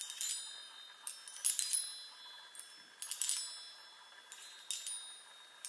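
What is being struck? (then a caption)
Small metal tube chime on a wooden frame. Long nails tap the hollow metal tubes of a small handheld chime instrument on a wooden frame, giving irregular bursts of bright, high tinkling notes. Each tap rings only briefly before fading, with almost no low end beneath.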